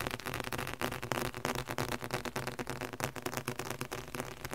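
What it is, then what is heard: Leather-covered book. A red leather-covered book is tapped quickly with the fingertips across its cover and spine area. The taps come fast and somewhat unevenly, about three per second, as dull, low-mid thuds with a short decay and a faint bright click on top.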